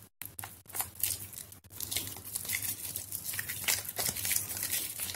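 A solid white bar of soap, soft and mushy from soaking in a plastic basin of water, is squeezed by hands with long yellow nails as pieces crumble off. The result is a dense, irregular stream of wet squishing and bright, crackly crumbling with a faint low hum underneath.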